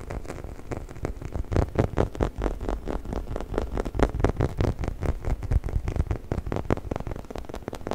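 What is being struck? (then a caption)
Textured rubber chicken toy. Fingernails scratch and fingertips rub the surface of a hollow, orange, textured rubber chicken toy held upright close to the mic. The result is a dense run of quick, uneven, dry scratching strokes with a heavy low thump and little brightness.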